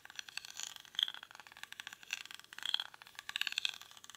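Fingernails scratch the weave of a small, hollow woven rattan or reed basket held in both hands. A rapid run of dry, crisp scratches and clicks sits almost entirely in the high, bright range, with no low end. Louder flurries come around one second, just before three seconds, and near the end.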